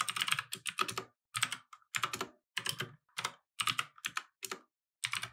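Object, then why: Mechanical keyboard with plastic keycaps. Fingertips of both hands type steadily on a compact mechanical keyboard with plastic keycaps resting on a wooden desk. Bright, dry clacks come in quick bursts separated by brief pauses, each keystroke cutting off almost instantly with little low end.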